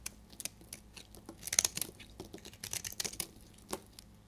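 A solid, dried amber bar soap held in the hand is scraped and shaved with a utility blade. A quiet series of dry, crisp shaving scrapes and crackles comes through, bright and high with almost no low end. The flakes give brief, snappy, papery ticks that stop dead with no ring.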